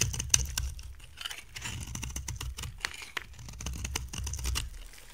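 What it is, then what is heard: Dry soap bar being carved. A dry, amber-colored solid brown soap bar is carved with a utility knife blade, sending dry flakes falling. Irregular, crisp scraping and crackling clicks with bright edges repeat over a soft low rumble, each cut stopping short with no ring.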